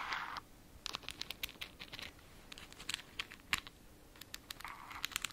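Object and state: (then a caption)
Glass jar with plastic lid. Long nails scratch and tap on the white plastic screw lid and glass sides of a small glass jar filled with a greenish substance. Soft, bright scraping swishes mix with many quick, sharp clicking taps that die away almost instantly, with little low end.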